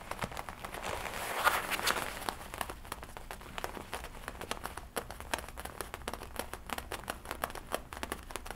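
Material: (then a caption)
Leather. Fingertips tap and scratch the chest and shoulder leather of a worn black-and-red leather jacket with a studded collar. Quick, irregular soft taps mix with dry, crinkly scratching, swelling into a brighter, louder rustle early on before settling into a steady patter of light clicks.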